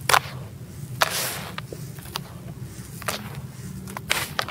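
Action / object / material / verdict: scrape / sand-cement crumble in a plastic tub / sand-cement / none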